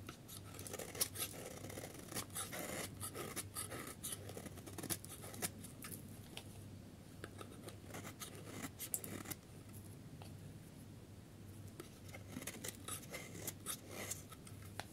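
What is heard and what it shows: A solid yellow dry bar of soap is held in the hand while a metal snap-off utility blade scrapes across its surface. The result is a quiet, steady run of short, bright, crisp scraping strokes with no ring, layered over a low hum.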